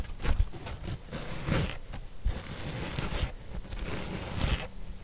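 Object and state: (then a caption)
Natural sea sponge. A large, dry, yellow natural sea sponge is held in both hands while long pink nails scratch and rub over its porous surface close up. Soft, dry, crunchy scraping rustles come in uneven bursts, with low thumping handling bumps underneath.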